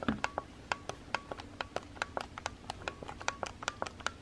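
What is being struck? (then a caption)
Plastic instant camera body and button. A fingertip with a painted nail repeatedly presses the button beside the flash on a white Instax instant camera with a small hollow plastic body. About 24 short, dry plastic clicks follow in an uneven rhythm, each with a bright, sharp edge and almost no ring.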